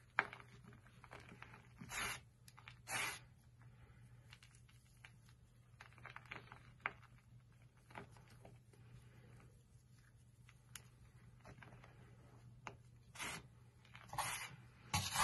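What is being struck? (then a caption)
Gym chalk crumbled between fingers. Bare fingertips crumble, crush and rub a pile of powdery white and blue gym chalk (magnesium carbonate) with small crumbly lumps on a flat surface. Soft, dry crackles and gritty rustles run quietly over a steady low hum, broken by a few louder, bright crunching bursts as lumps are crushed.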